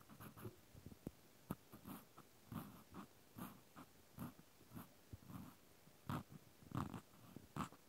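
A cotton swab tip scratches inside the hole of a white plastic clothespin, shown in close-up. Soft, irregular bursts of scratching and rubbing come in short strokes with quiet gaps between them, mostly low and muffled with occasional brighter clicks.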